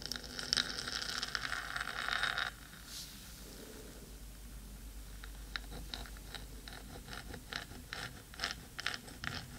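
Long pointed nails of both hands scratch the black metal top of a 3Dio microphone's hollow housing. A dense, bright, rasping scrape fills the first two and a half seconds, then drops to near silence. Scattered crisp, high ticks and short scratches follow at an uneven pace.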